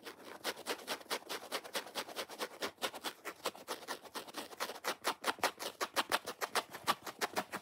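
A dry, watermelon-style foam kitchen sponge is scratched fast and hard with fingernails along its curved scrubber edge and foam face while it is turned in the hands. Roughly forty short, dry, raspy strokes come in a quick, steady rhythm, each a brief scratchy burst centered around 1 kHz with bright hiss on top and no low end. Each stroke cuts off almost at once with no ring.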